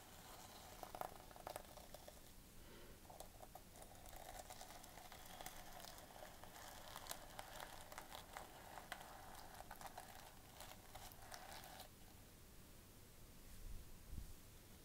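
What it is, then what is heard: Sequin-covered notebook cover. A flat notebook with a gold plastic sequin fabric cover has its sequins scratched and brushed with long nails. The result is a steady, quiet crackling rustle of many small, bright ticks that stops abruptly near the end.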